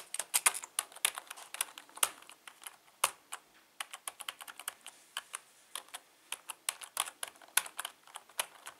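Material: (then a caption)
Plastic. Fingertips tap the letter keys of a full-size black plastic membrane keyboard with a hollow housing, resting on a patterned tablecloth, in continuous typing. About forty short, dry, bright clicks come in an uneven rhythm, some louder than others, with almost no low end and no ring after each tap.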